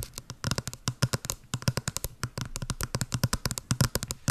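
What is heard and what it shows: Long blue nails tap quickly on a small, hollow, white patterned printed cardboard box close to the mic, making about thirty-three rapid taps. Each tap is a short hollow knock with a low body around 125 Hz and a bright click on top, and it dies away almost instantly.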